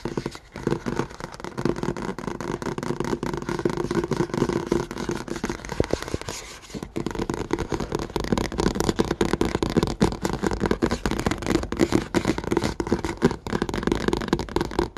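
Fingertips and short nails tap quickly on the surface of a flat white Five Star plastic notebook cover lying on a table. The taps come as a dense, rapid stream of short, dry clicks with a slight hollow tone, continuing steadily with a brief near-pause just before the midpoint.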